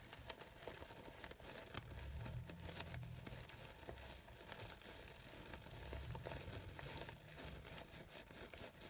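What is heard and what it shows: The petals of a light-blue, glittery blue organza fabric rose are rustled with fingertips and nails, giving a steady crisp, crinkling rustle with bright, papery detail. Soft, low swells rise beneath the rustling twice, and quick sharp crackles are scattered throughout.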